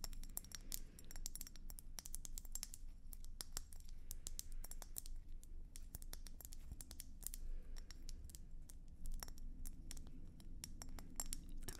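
A red and white swirled hollow glass hummingbird feeder, held close to the microphone, is tapped and scratched with the long nails of both hands. Quick, dry clicks and scrapes come in a steady, dense stream, each one bright and short with almost no ring, over a constant low rumble.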